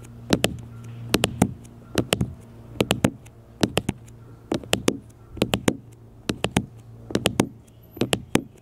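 Fingertips and nails tap repeatedly on a small black smartphone with a glass screen and plastic case, lying flat on a metal mesh picnic table. The sharp, dry clicks come in quick bursts of two or three with brief pauses between, each dying away almost instantly, over a steady low hum.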